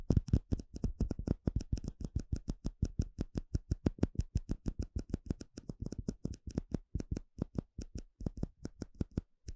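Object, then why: Small clear plastic cup. Fingertips and nails tap quickly on a small, hollow, empty clear plastic cup. A fast, steady run of short, dry taps follows, each with a low, hollow thump and a faint bright tick that dies away almost instantly. The rhythm breaks briefly now and then before carrying on.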